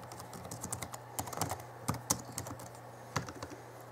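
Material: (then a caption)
Plastic. Rapid fingertip typing with both hands on the backlit plastic chiclet keyboard of a 2011 Alienware M11x laptop. Irregular bursts of short, crisp key taps with bright, high clicks die away almost at once, over a faint steady low hum.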